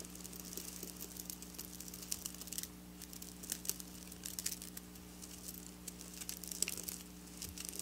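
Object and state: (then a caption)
Sequin fabric scratched. Long black nails scratch and trace across flat silver sequin fabric lying on a table. The result is quiet, bright, crinkly scratching with many tiny sharp ticks over a steady low hum.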